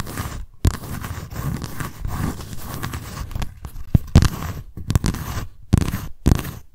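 Long nails scratch the raised lettering on the white embossed cardboard cover of a paper notebook held up close. A steady dry rasp of scratching is broken by brief pauses and sharper, louder scrapes and taps toward the end. The sound is close and full-bodied, weighted toward the low end.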